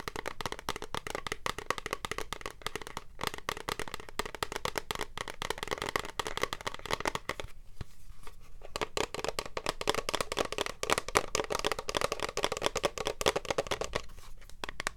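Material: Plastic.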